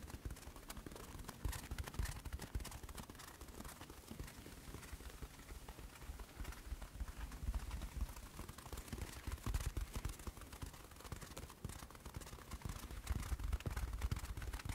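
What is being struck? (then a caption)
Paper toilet roll with cardboard core. A pink, hand-sized paper toilet roll with a hollow cardboard core is held close to the microphone and tapped and scratched on its paper surface with fingertips and nails. The result is a steady stream of soft, quick, muffled thuds with papery scratching, heavy in low-end rumble and with brief bright crackles.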